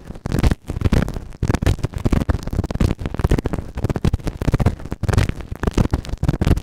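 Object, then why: Silicone ear model microphone rubbed with a plastic spatula. A white plastic spatula scratches and rubs inside the ear canal of a grey silicone ear microphone on a round base. It makes dense, rapid bursts of close, muffled scraping and rubbing, heavy in the low end with almost no brightness, continuing without pause throughout.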